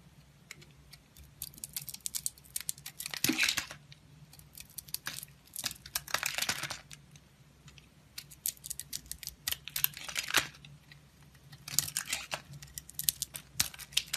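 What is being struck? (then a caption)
Bar of soap. A utility knife blade shaves and cuts through a solid, hand-sized oval orange bar of soap with a leopard print, held in hand, exposing its pale yellow interior. Bursts of crisp, bright scraping and crackling come in waves, dense runs of sharp little clicks with almost no low end, over a faint steady hum.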